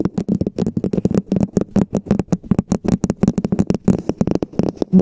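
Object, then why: Plastic cup. Long painted fingernails of both hands rapidly tap and scratch a hollow, empty red plastic cup-shaped cover. The result is a dense stream of short, dry clicks with a hollow tone around 190 Hz and quick, bright scratchy edges, each hit dying away almost instantly.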